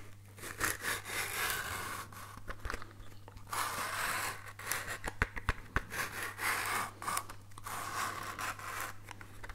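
A small, hollow, orange cardboard matchbox is held in both hands and scratched with fingernails. Irregular bursts of dry, raspy scratching come and go with bright hiss and a few sharper clicks over a steady low hum.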